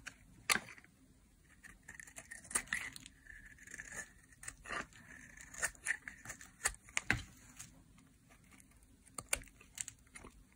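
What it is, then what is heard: Dry soap bar being shaved. A metal knife blade shaves thin curls from a small, solid, oval, cream-white dry soap bar held in the hand. The scraping makes a series of short, crisp, dry rasps that sound like tearing, with a bright hiss and a steady band near 1.6 kHz. Each stroke stops quickly, with quiet gaps between them.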